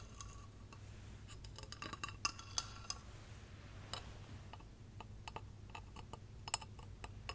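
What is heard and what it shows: Long painted nails tap a hollow, clear glass light-up Christmas tree figurine with LED lights inside and a silver base as it is moved between the hands. Quick, light glassy clicks and clinks carry a bright, high ring that dies away almost at once, with a few sharper taps standing out over a steady low hum.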